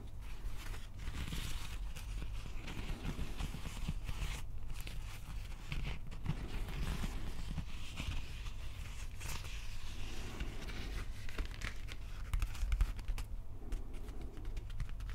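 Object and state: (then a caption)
Plastic prop axe handle being scratched. Fingertips scratch the wrapped plastic handle of a replica prop axe held diagonally, making soft, dry, continuous scratching and rustling. The scratching sits over a steady low hum and stays quiet and even throughout, with brief brighter scrapes.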